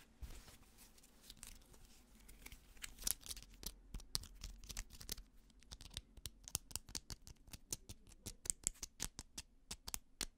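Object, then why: Fabric trucker cap with plastic mesh back. A grey-white fabric trucker cap is held in the hand while fingertips and nails scratch its white plastic mesh back panel and fabric. Quick, dry, bright scratching clicks come in a fast, uneven run, growing sharper and more evenly spaced in the second half, over a faint low hum.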